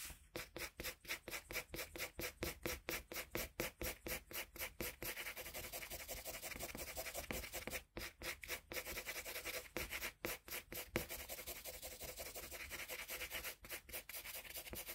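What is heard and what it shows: A colored pencil is rubbed back and forth on a flat sheet of drawing paper, making a quick series of dry, bright, scratchy strokes. The strokes are clearly separated at first, then run together into a steady rasping hiss with brief pauses between bursts.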